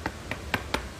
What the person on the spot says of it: kalau diketuk ada suaranya nih tuh, karena sangat keras buat HP kamu ya